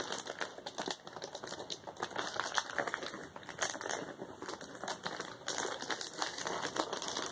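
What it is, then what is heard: Plastic bubble wrap. A flat sheet of plastic bubble wrap is tapped quickly and pressed with the fingertips of both hands, like typing. It makes a steady stream of rapid, dry crinkling clicks that are bright and thin with almost no low end. Each tap dies away almost instantly.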